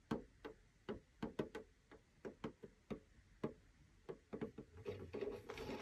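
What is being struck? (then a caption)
Metal tin with clear plastic window lid. Fingertips of both hands tap the clear plastic window lid of a small rectangular metal tin with a blue snowflake rim, hollow with paper contents inside. A series of quiet, short, hollow taps with a mid-toned knock and quick decay runs through the clip. Near the end it turns into faster, denser tapping with a brighter rustle.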